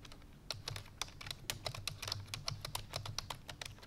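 Fingertips with long painted nails type rapidly on a full-size black plastic computer keyboard resting on a white fur rug. About 23 quick, bright clicky key taps come in a fast, uneven stream, each with a very short ring over a low background hum.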